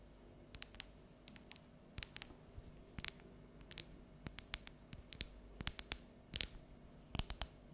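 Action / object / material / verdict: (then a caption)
tap / bar of dark chocolate / chocolate / none. Long neon-yellow natural nails tap and scratch the segments of a solid, unwrapped bar of dark chocolate held at an angle. Around two dozen short, bright, crisp clicks ring out at an uneven pace, each dying away almost instantly, with some clustered in quick runs. Between them sits a quiet, steady low background hum.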